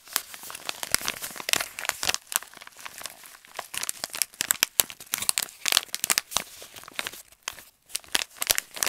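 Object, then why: Kraft paper stand-up pouch. A handheld light brown kraft paper stand-up pouch is crumpled and crinkled with fingers and nails. It makes dense, bright, papery crackles and sharp snaps in fast, uneven bursts, with almost no low end and brief pauses between flurries.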